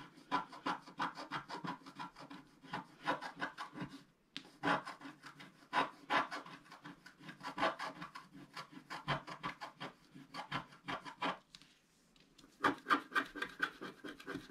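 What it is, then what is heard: Scratch art paper being scratched. A wooden stylus scratches a flat, black-coated scratch art paper sheet near its right edge, making rapid, dry rasping strokes in quick bursts. The strokes are full of mid and bright texture and die away almost instantly. Short pauses fall near 4 and 12 seconds before the scratching resumes.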